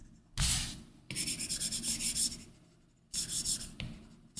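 A plastic Apple Pencil tip rubs and scratches across a large flat iPad Pro glass touchscreen fitted with a matte, paper-like screen protector film, making continuous sketching strokes. Bursts of bright, dry scratching hiss come and go with the strokes: a long rippling run of short back-and-forth marks sits in the middle, with quiet gaps between passes.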